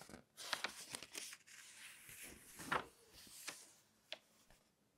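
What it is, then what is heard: Glossy paper magazine pages being flipped. An open, thin glossy paper magazine lies flat on a table while fingertips grip and flip its pages, so the sheets rub and rustle against each other. Bright, crisp paper crackles and swishes come in several quick bursts, with soft rustling between them and little low end. The sound is dry and close, with each flip fading out quickly.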